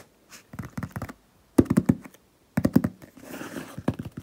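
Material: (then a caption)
Cardboard. Several fingertips with painted nails tap quickly on the top of a medium hollow cardboard shipping box with a paper label. Quick bursts of short, dull, hollow taps come in uneven clusters, each dying away at once, with a soft scratchy rustle between the last taps.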